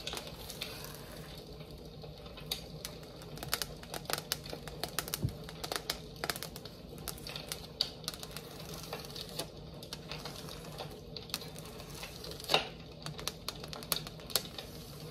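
A flat painted "North Pole" sign, likely tin, is held in both hands and tapped along its surface with long acrylic nails. The result is a steady run of quick, light, bright clicking taps that die away almost instantly, with a few sharper taps standing out over a faint low hum.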